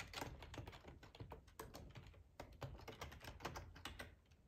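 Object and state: Plastic computer keyboard being typed on.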